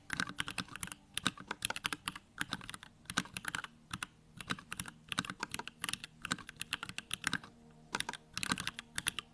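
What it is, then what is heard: Plastic mechanical keyboard. Fingertips type rapidly on a small 65% Bakeneko65 mechanical keyboard with Durock lavender switches, a plastic case, white plastic keycaps and the backlight on. Bright, crisp key clacks come in quick bursts separated by brief pauses, each stroke dying away almost instantly.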